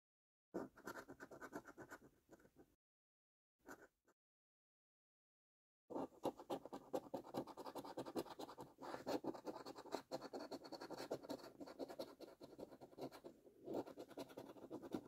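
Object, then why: Paper scratch card scratched with a coin edge. A coin edge held in the fingers scratches the silver latex coating off a thin, flat, printed cardboard £2 National Lottery £100 Multiplier scratch card lying on a dark surface. Dry, rasping scratches come in a burst, then a couple of brief strokes after a pause, then a long stretch of quiet, followed by dense, rapid, continuous scraping to the end.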